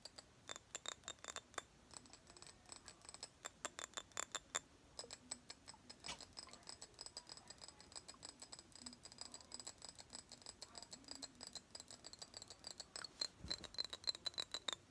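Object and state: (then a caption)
Small square glass perfume bottle. A small pink square glass perfume bottle, held in both hands, is tapped rapidly with long nails. The result is a quiet, irregular stream of bright, sharp clicks with very short ring and a high glassy tone, with some rattling between the taps.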